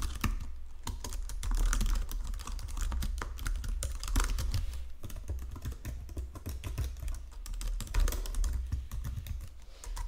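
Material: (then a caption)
Plastic. Fingertips with painted nails type steadily across the low-profile keys of a full-size white and silver plastic Logitech keyboard resting on a marble desk. Rapid, soft clicks and taps run continuously for about ten seconds over a low, steady hum.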